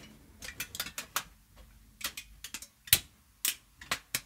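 A crumpled sheet of aluminium foil, held in both hands, is squeezed and crinkled with fingertips and long nails. The result is a run of quick, dry crackles and sharp ticks, bright and high with almost no low end. The louder snaps come around the three-second mark and near the end.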